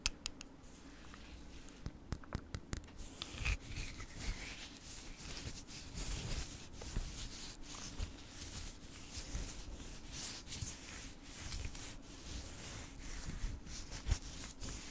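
Long painted nails slowly scratch the surface of a palm-sized, solid orange Himalayan rock-salt block. The result is a continuous, dry, bright scratching texture with occasional sharper ticks, sitting over a steady low hum.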